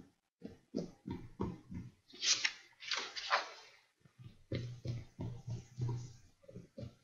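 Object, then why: Paper pages in a ring binder. Fingertips tap on text-printed paper sheets in an open ring binder lying flat on a desk, giving a series of soft, dull taps. Partway through comes a brighter, hissier rustle of the paper before the tapping resumes.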